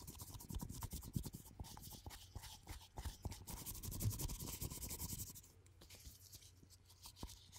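A black glossy hollow ceramic mug held in gloved hands is scratched and rubbed with gloved fingertips. Close, quiet scraping and rubbing comes with many small taps over a low hollow body tone and a bright, hissy scratch texture. The activity eases off toward the end.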